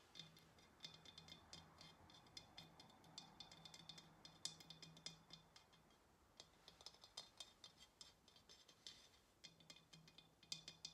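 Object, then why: Ceramic vase tapped with fingernails. Long nails tap rapidly and irregularly on the body of a hollow ceramic pottery vase held sideways in the hands. The quiet, bright, clicky taps die away almost instantly over a faint steady low hum.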